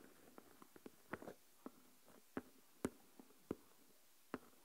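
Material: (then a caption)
Plastic. Fingernails tap the lid of a small translucent plastic deli tub full of coarse salt, then a single fingernail taps on. The result is a quiet, scattered series of short, dry clicks with mid-range body and a little bright edge, each dying away almost at once, with near silence between them.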